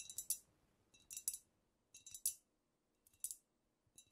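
Long nails tap the sides and shoulders of a squat, wide amber glass cognac bottle with a paper label, which looks filled with dark liquid, using both hands. Quick bright clicks arrive in small bursts of about three, roughly once a second. Each click is crisp with a faint glassy ring that dies almost instantly, and there is almost no low end.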